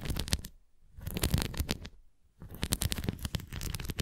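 Long nails tap and scratch along the rim edge of a red plastic flying disc toy held flat. Quick, close, dry clicks and rough scraping come in three bursts separated by short silent pauses, with a heavy low thump and a bright scratchy edge.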